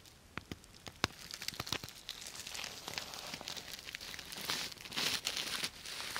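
Long nails scratch and rub the plastic sequins of a purple sequin-covered fabric bag held close to the microphone. Sharp, separate ticks and clicks at first give way to a dense, bright crinkling and rustling that grows louder toward the end.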